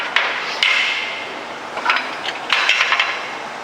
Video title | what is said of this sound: Stretching Newman Mesh Snap Panels Part 2 | there is no rocking in the frame the frame is still perfectly made to these four machine corners